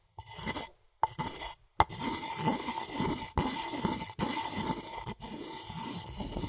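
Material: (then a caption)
Wood. A wooden pestle scrapes and grinds in a rasping motion inside a light, hollow, empty wooden mortar held by hand. Short bursts of dry, gritty scraping are broken by sharp clicks and brief pauses, over a faint steady hollow ring around 850 Hz. The sound then settles into continuous rough rubbing with bright, textured grit.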